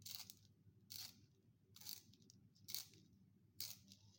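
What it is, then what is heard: Wooden pencil being sharpened. A solid wooden pencil is rotated by hand in a small yellow plastic sharpener with a metal blade, producing five bright, dry scraping bursts at a steady pace over a low background hiss. The scraping leaves continuous wood shavings and graphite dust.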